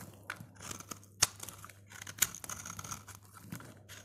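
A utility blade scrapes along the surface of a solid, hand-sized, dry orange soap bar, shaving off thin slices. The result is a series of bright, crisp scraping and crunching sounds, with two sharper, louder snaps standing out near the middle of the clip.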